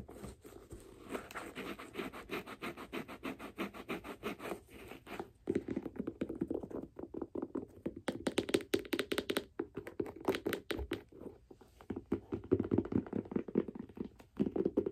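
Long black nails tap and scratch the leather side of a white leather figure skate boot with laces and a plastic blade guard fitted. The result is a dense run of quick, dry, close taps and papery scratches, centered in the low-mids, with very short decay and little deep bass or brightness.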